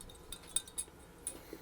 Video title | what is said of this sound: 1938 Zenith 9S262 Vintage Tube Radio Part 1 of X First Peeks | hear that even when I shake it